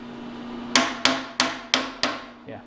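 A steel vise jaw blank held in a milling vise is tapped down with a hammer to seat it, five sharp, bright metallic taps with a short ring. The taps sound solid, showing the blank is fully seated before it is skimmed.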